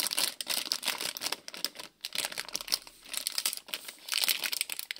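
Fingers crinkle and squeeze a small printed plastic-film Lego City polybag with bricks inside. The result is a dense run of bright, crackling crinkles with almost no low end, broken by brief lulls near the 2 and 3.6 second marks.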